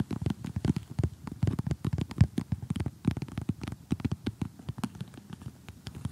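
Fingertips with short glittery painted nails tap and scratch an assembled flat cardboard jigsaw puzzle with a colorful house picture lying on a table. Quick, dense, low, dull taps and crinkly scratches follow one another rapidly, each dying away almost at once.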